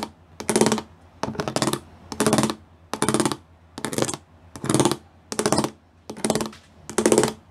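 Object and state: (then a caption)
Plastic panel with raised pyramid studs. Fingertips and nails tap quickly across a flat grey plastic sheet covered in rows of small square pyramid studs. The taps come in nine short, rapid bursts separated by brief pauses. Each burst is a crisp, bright clatter with a light hollow body and almost no ring.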